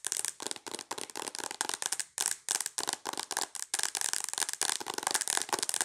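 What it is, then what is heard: Tablet in plastic case, tapped. Long acrylic nails tap rapidly on the glass screen of a tablet in a mint plastic case. The taps come in quick, bright, clicky bursts with almost no low end, and each tap dies away almost instantly.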